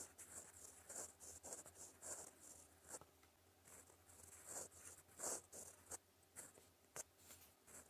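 A steel fountain pen nib writes in green ink on a flat, solid sheet of lined white paper, scratching across the surface in about eighteen short, quiet strokes. Each stroke is a bright, high, papery scratch with little low end, separated by soft pauses and a faint low hum underneath.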